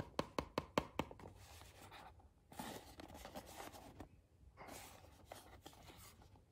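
A fingertip and long painted nails tap and rub the flat side of a small printed purple cardboard Kuromi Party blind box, closed with a figure inside and held in both hands. Five quick, crisp taps come first, followed by two longer stretches of soft, dry scratching and rubbing with a few lighter taps.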